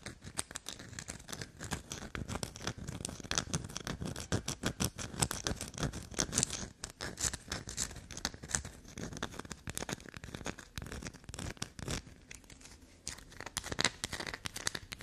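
Long black nails scratch fast across a small solid black soap bar held in the hand. The result is a dense run of quick, dry scratches and light ticks with bright high edges and almost no ring. A few short pauses break up the run.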